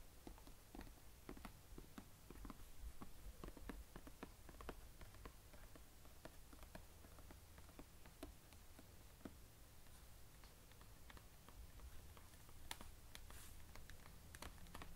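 Fingertips tap and scratch the embossed lid of a medium, hollow blue plastic carry case lying flat, then both hands hold it and tap its sides. The result is a quiet run of many short, dry, hollow taps and soft scratching over a low, steady rumble.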